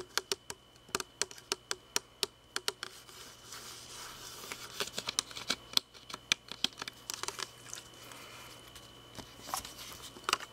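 Fingertips and nails tap and scratch a hand-sized, hollow red plastic drinking water bottle held close. Crisp, bright clicking taps come in a steady series at first, then give way to a denser, scratchy rustle with scattered taps. A few sharper taps return near the end.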